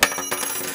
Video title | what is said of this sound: Selçuk Üniversitesi TV Haberciliği Dersi Projemiz - 2019 | gerçek altını tekrar atıyorum sesinin farklı olduğunu gördük